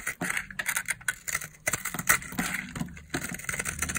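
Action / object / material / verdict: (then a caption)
scrape / bar of soap cut with a knife / soap / none. A knife blade shaves and cuts crunchy layers off a solid purple dry bar of soap held in the palm, and fingers crumble the flakes. The result is a dense run of crisp, bright crackles and scraping crunches with short, dry attacks and almost no low end.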